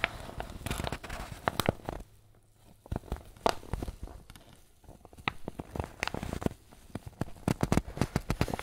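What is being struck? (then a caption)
Paper bag filled with flour. A soft, wrinkled white paper bag, apparently filled with flour, is squeezed and crinkled with the fingers and thumbs of both hands. Dense bursts of dry, sharp crackles and crinkles come in clusters, with a brief quiet lull near the two-second mark and another softer stretch before the crinkling picks up again. Each crackle is short and snappy with almost no ring.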